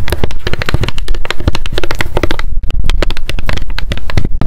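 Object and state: Paper spiral notebook tapped with nails.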